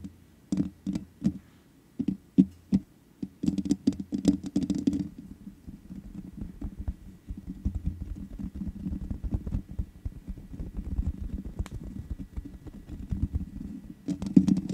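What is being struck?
Metal mesh microphone grille.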